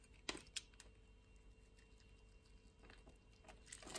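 A utility-knife blade cuts and scrapes pre-scored grid flakes off the surface of a solid purple lavender bar soap held in the palm of a hand with long nails. Sharp, bright crunching snaps stand out against a quiet hiss, with a burst of scraping toward the end.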